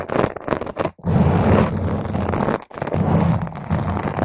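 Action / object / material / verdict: scrape / foam microphone windscreen / foam / none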